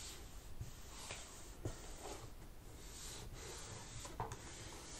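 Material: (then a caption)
Plastic. A wipe under fingertips rubs along the black plastic palm rest edge of an open laptop beside the keyboard. It makes a steady, soft, broadband rasping hiss with low rumble underneath. Three slightly louder scuffs stand out as the wipe catches.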